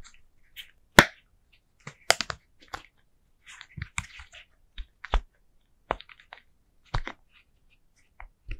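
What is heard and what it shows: Long nails tap and press the hollow bubbles of a flat orange and green silicone pumpkin pop-it fidget toy. The result is a sparse series of sharp, dry snapping clicks and soft muffled pops, each dying away almost instantly, with quiet pauses between them.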